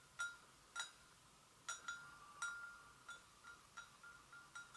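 Long nails gently tap the sides of an empty, hollow white porcelain gravy boat. Each tap is a quiet, irregular clink with a brief ringing tone near 1.4 kHz and bright, high overtones that fade quickly.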